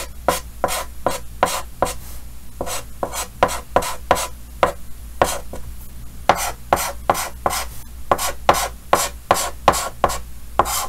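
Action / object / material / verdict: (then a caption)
scrape / chalk on a painted chalkboard / chalk / none. Yellow chalk held in the fingers scratches short strokes across a large, flat, solid painted chalkboard in a green frame while drawing Pikachu. About 23 quick scratchy strokes come in an uneven rhythm, each a brief bright rasp centered in the midrange around 1 kHz that dies away quickly over a steady low hum.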